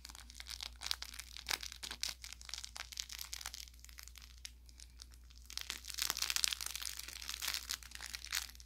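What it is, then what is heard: Plush toy with crinkle filling. Fingertips rub and squeeze the orange velour fabric of a plush carrot toy with crinkle filling, working along the seam toward the tip. They produce quiet, bright, dry crinkling and crackling in rapid short bursts over a faint steady low hum. The crinkling grows denser and louder in the second half before easing off.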